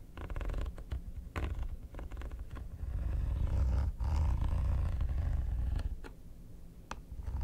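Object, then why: Hard plastic vanity case. Metal tweezers scratch the textured, quilted top of a hollow, mint-green hard plastic vanity case. The result is a run of uneven scraping strokes with sharp clicks, over a deep, hollow low rumble that swells in the middle of the clip and fades toward the end.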